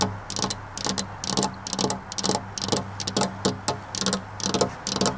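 Long black-polished nails tap on a flat glass window pane with a metal rail, giving about sixteen quick, dry, bright clicks in an uneven rhythm. Each tap dies away almost at once over a steady low hum.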